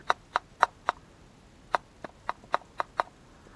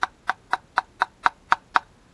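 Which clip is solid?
The first.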